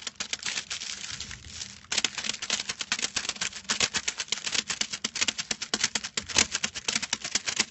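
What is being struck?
Thin metallic foil sheet.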